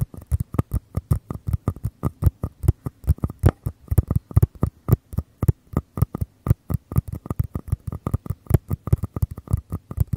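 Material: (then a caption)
Paper. Fingertips and nails tap and scratch the walls of two identical small, empty, hollow white paper cups, one held on each side of a Tascam mic with the open end out. Around 53 quick, dull, hollow taps sound in a steady stream over about ten seconds, each a short low thump with a faint dry tick and almost no ring.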